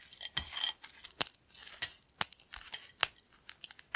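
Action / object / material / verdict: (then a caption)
scrape / thin corn chips / corn chips / none. Thin, flat, crispy yellow corn chips spread on a black plate are snapped and crushed between fingertips. Sharp, bright cracks and crackles come in quick bursts over a soft crinkling rustle, with almost no low end and each snap dying away at once.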